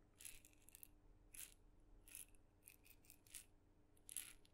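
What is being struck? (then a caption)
Small wooden maraca with beads inside. A single small red dotted, painted wooden mini maraca, hollow and filled with beads, is shaken slowly and tapped with fingernails. It produces quiet, separate bursts of dry, bright bead rattling that stop almost instantly, over a faint steady low hum.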